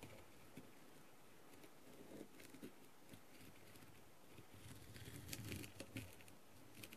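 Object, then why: Plastic mask covered in rhinestones, tapped with a plastic tool. A clear plastic tool tip taps and pecks across the rhinestones of a blue, plastic rhinestone-covered masquerade mask. Quiet, irregular light ticks and clicks sit over a soft, low rustling bed, growing denser and brighter around the fifth to sixth second.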